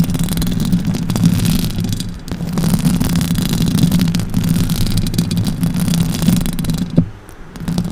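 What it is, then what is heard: Metal microphone grille being scratched. Long orange acrylic nails scratch the hollow metal mesh grille of a silver Blue Yeti microphone. It makes a dense, continuous low rumbling scrape with faint bright scratchy texture on top, dipping briefly around two seconds in. A sharper knock near the seventh second is followed by a quieter stretch before the scratching picks up again.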